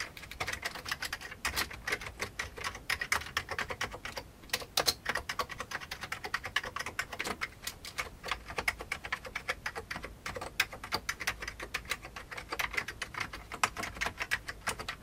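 Fingertips type steadily on the keys of a full-size vintage beige plastic computer keyboard. A rapid, continuous patter of short, bright plastic clicks is heard, each keystroke dying away almost instantly with little low end and occasional louder taps standing out.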